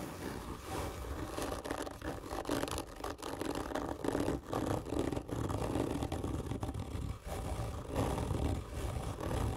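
Long nails on both hands scratch hard and slowly across the textured surface of a hollow black printed cardboard gift tube lying on its side. The result is a steady, dense scraping rasp with a hollow, boomy low resonance and a midrange tone, interrupted by brief dips as the strokes change.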